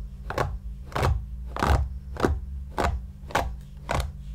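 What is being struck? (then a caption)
Stuffed shaggy yarn cushion. A flat white brush, held in one hand while the other hand rests on the cushion, strokes across a large, soft, stuffed, shaggy light-grey yarn or faux-fur cushion. Seven brushing strokes sound as soft, airy swishes at a slow, uneven pace over a steady low hum.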